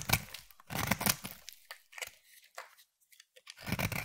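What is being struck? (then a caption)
Bar of soap. A utility knife blade shaves curls off a palm-sized solid green striped bar of soap, giving dry, crisp scraping and tearing strokes with a bright, crumbly edge. Longer cuts at the start and end frame a few shorter, quieter scrapes in between, each stopping almost at once.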